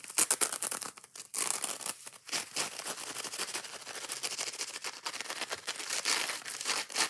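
Long nails scratch fast at the green abrasive scouring pad of a yellow foam kitchen sponge and pick at the foam. The result is a dense stream of bright, dry, crinkly scratches and quick taps with almost no low end, starting with a few sharp louder strokes before settling into steady, rapid rasping.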